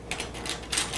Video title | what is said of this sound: [이현맘의 채식요리 레시피] 63회 채식 육개장 | 바삭바삭 소리 들리나요 무슨 칩 같은 소리